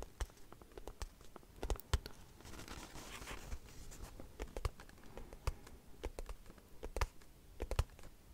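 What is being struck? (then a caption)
Small cardboard box. Long nails tap on a small white cardboard product box held in the hand, making quick, dry clicks at an irregular pace. A soft, brushy scratching swells briefly in the middle between the taps. Each tap is sharp and dies away almost at once, with no ring.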